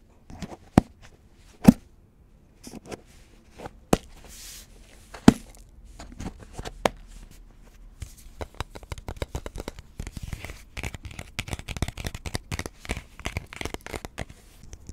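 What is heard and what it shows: Fingernails tap and scratch the side of a red Pringles chip can, a hollow cardboard composite tube with a metal rim, and the area near the rim. A few sharp, dry taps with a short hollow thud come first, spaced by soft scratching, before the tapping turns into a dense, fast flurry of light clicks and scrapes.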